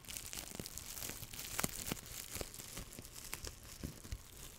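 A loose sheet of clear plastic bubble wrap, held in both hands in front of the microphone, is crumpled and squeezed with the fingertips. This produces a steady bright crinkling broken by short, sharp pops of bursting bubbles that die away almost instantly.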